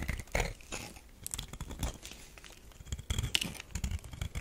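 A metal knife scrapes a solid tan bar of soap that has been partly carved, shaving it into powder and curls. Short, dry scraping and crunching strokes come in uneven bursts with quiet gaps between them, each dying away almost instantly, with bright, gritty detail over a soft low rumble.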